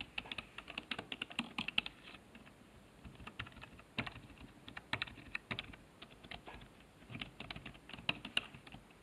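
Fingertips type on the letter keys of a black plastic HP keyboard resting on a wooden desk. Quick, bright plastic clicks come in bursts, with short quieter stretches around 2–4 and 6–7 seconds. Each click is sharp and dies away almost at once.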